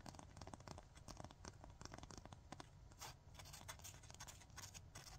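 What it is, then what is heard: Emery nail file being scratched. Fingernails scratch and rub rapidly across the gritty abrasive surface of a long, flat 100/180 emery nail file held in both hands. The result is a quiet, continuous run of short, dry rasping strokes with a bright, sandy hiss over a soft low rumble.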